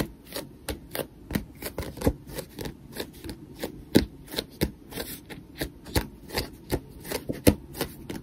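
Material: Paper.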